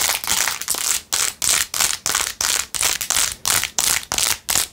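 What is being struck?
Rhinestone-covered plastic phone case.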